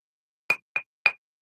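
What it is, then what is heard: Hard plastic action figure. Three sharp knocks on the body of a loose hard plastic French Angel wrestling action figure, a spare copy in black pants, give short, bright clicks with a ringing tone near 2.4 kHz. The figure sounds solid and hard, not falling apart.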